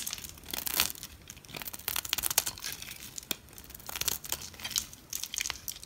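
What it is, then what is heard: Bar soap being cut with a blade. A utility knife blade cuts slices off the corner and edge of a solid olive green bar soap held in fingers with long red nails. Crisp, bright scraping and crackling bursts come in quick, uneven strokes, with almost no low end and no ring after each cut.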